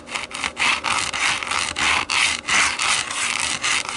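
Long nails scratch back and forth across the dotted, textured hollow back of a black plastic TV remote turned face-down. The result is a steady run of bright, dry rasping strokes with short dips between them and almost no low end.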